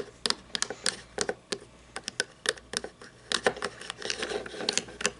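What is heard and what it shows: Long nails tap and scratch on a small toy monster truck, held upside down and tilted in the hands, with a chrome plastic chassis and black plastic tires. About 25 sharp, bright, clicky taps come in quick, uneven bursts. Each dies away almost instantly, with soft scratchy rustling between them.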